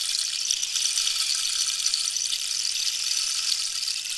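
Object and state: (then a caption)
Cactus wood rainstick. A hollow cactus wood rainstick with a red-yellow-green band is tilted while long nails tap near its top and pellets rattle inside. The result is a steady, bright, hissing patter like falling rain, with almost no low end and an even level throughout.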